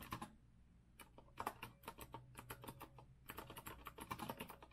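Fast fingertip typing with both hands on a rose-gold retro Azio mechanical keyboard with a metal frame and round plastic keycaps produces rapid, bright, crisp clacks in quick bursts. Two short pauses break the flurries, and a faint low hum sits underneath throughout.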